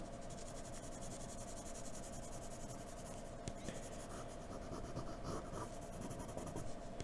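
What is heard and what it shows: Short, quick strokes of a graphite pencil held in a blue extender scratch across a sheet of white drawing paper. The result is a soft, continuous dry scratching with a few slightly sharper ticks, under a faint steady hum.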